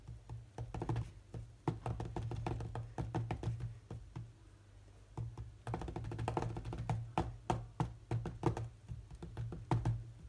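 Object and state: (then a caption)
Glass tablet touchscreen being tapped. Fingertips of one hand rapidly tap and swipe across the glass touchscreen of a large, solid tablet, making quick dull knocks over a steady low hum. The taps come in dense bursts, pause into quieter swipes around the middle, then pick back up.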